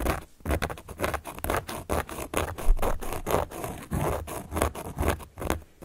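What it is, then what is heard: Cork board being scratched. A carving tool held upright by long nails traces and scratches across the surface of a large, round, solid cork board. The result is a steady run of short, dry scratching and rasping strokes, with broadband texture, a low, dull body underneath, and very brief gaps between strokes.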